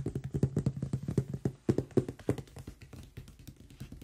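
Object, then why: Closed cardboard box. Fingertips and nails tap quickly across the top and side of a large, closed cardboard product box. The rapid, uneven taps sound like dull, hollow, low thuds that die away almost at once. They are loudest through the first two and a half seconds, then continue more softly.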